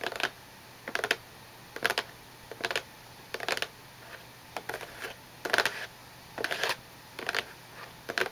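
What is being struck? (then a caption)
Cardboard tissue box. Long nails tap the top of a small, glossy, hollow cardboard tissue box, with some handling near its plastic-lined opening. Short, dry, bright clicks come in irregular clusters about once a second, each dying away instantly with no ring, over a quiet background.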